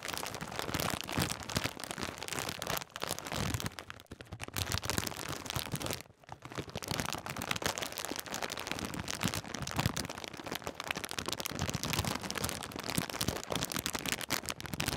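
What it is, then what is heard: Foil snack bag being crinkled. A metallised plastic snack bag full of Twiglets is squeezed and crinkled with the fingers. It gives a dense, continuous crackling and rustling across a broad range from low thumps to bright hiss. There are brief quieter gaps around 4 and 6 seconds.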